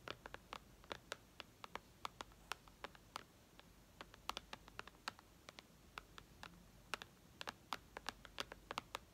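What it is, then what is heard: Glass tablet screen tapped with fingernails. Long red nails tap and scratch the glass screen of a white iPad resting on lace. Some 43 short, bright clicks sound in an irregular rhythm over a faint, steady hiss, each one dying away almost instantly.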